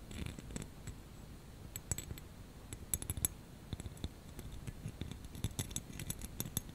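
Fingernails scratch and rub a small clear plastic snowflake ornament hanging on a wire hanger. Quiet, scattered, brief bright clicks and scratchy ticks sit over a soft low rumble, and each one stops almost instantly.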